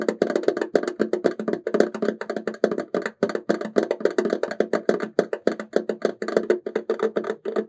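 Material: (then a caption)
Resin. A hollow, ornate silver embossed resin tissue box cover with an oval opening is held upright and tapped quickly with fingertips and short nails across its patterned front. It gives a fast, uneven stream of dry, woody clicks with a hollow tone around 400 Hz that stops almost at once.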